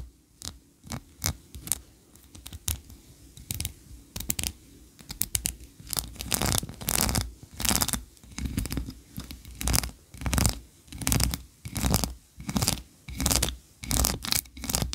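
Long nails scratch up and down the ridged sides of a solid white ribbed wax tree-shaped candle. Dry, bright scraping strokes repeat at a loose, uneven pace over a low steady hum. The strokes grow louder and more evenly spaced in the second half.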